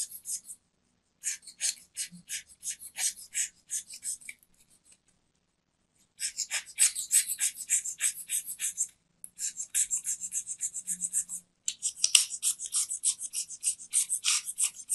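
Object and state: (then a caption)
Soap bar scraped with a blade. A metal craft knife blade scrapes and shaves the surface of a small, round, solid white soap bar held in the palm and covered in soap powder. Around 28 quick, bright, dry scraping strokes come in rapid runs, with a silent pause in the middle before the strokes resume more densely.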